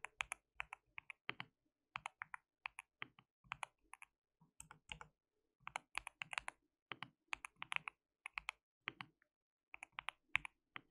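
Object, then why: Mechanical keyboard with plastic keycaps. Fingertips of both hands type continuously on a white mechanical keyboard with plastic keycaps. The result is a steady stream of crisp, bright clicks in quick bursts separated by short pauses, with very little low end and almost no ring after each keystroke.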